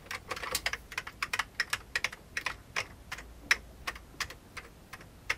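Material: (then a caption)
Plastic. An old beige full-size plastic keyboard with hollow keycaps is typed on rapidly with the fingertips of both hands. Quick, sharp plastic clacks come in an uneven stream, bright and light with almost no low end, each tap stopping almost instantly. A few keystrokes land noticeably harder than the rest.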